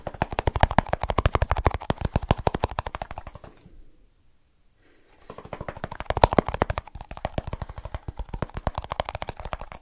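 A small snus container is tapped rapidly with the fingertips, giving a fast, steady stream of dull, low taps with almost no ring. The tapping fades to silence for about a second near the middle, then starts up again at full pace until the end.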